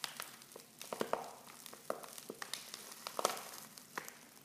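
Fingers and long nails crinkle a silver foil Pickwick tea pouch that is half full of loose tea leaves and open at the top. The result is a quiet, irregular run of sharp, bright crackles and rustles, with crisp clicks that die away almost instantly and no low rumble.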